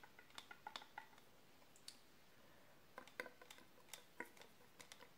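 A long, hollow, empty brown cardboard tube held in the hands is tapped and scratched along its length with long manicured nails and fingertips. Quiet, dry taps and clicks come in irregular clusters, each with a hollow midrange knock and a bright, crisp edge that dies away almost instantly. Faint scratching fills the gaps between them.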